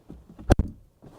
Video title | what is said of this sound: Saying Goodbye to the Audi R8 and its Glorious V10 (POV Drive Review) | fermer la porte pour écouter le bruit sourd qui est si solide